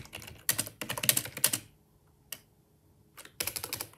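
Bare fingertips type on a black, full-size, hollow-bodied plastic Microsoft wireless ergonomic keyboard resting on a desk, while the mouse beside it stays untouched. Quick runs of bright, clacky keystrokes fill the first second and a half, then stop for a pause broken by a single tap, before another burst of typing resumes at the end.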